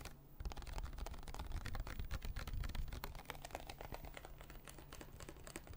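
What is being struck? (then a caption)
Small plastic water bottle. A small, hollow, clear plastic water bottle with a blue cap is held in both hands close to the microphone and tapped and scratched with fingertips and nails. Rapid, uneven taps and clicks with short, dry scratches sit over a heavy, low, hollow thump and a steady low hum. The tapping stays dense and close throughout.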